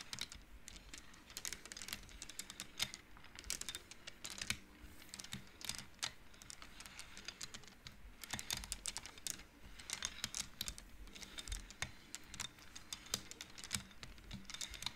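Long nails and fingers rapidly slide painted wooden beads along an upright wooden-frame abacus. The result is a steady stream of quick, bright, dry clicks and light clatters that die away almost instantly.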